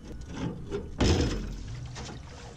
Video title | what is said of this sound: Dumpster Diving the POLICE STATION & JAIL & Ken's Auction House for Treasure & Scrap Metal | Hear that sloshing? A lot of water in there.